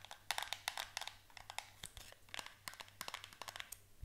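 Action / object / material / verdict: tap / small cardboard soap box / cardboard / none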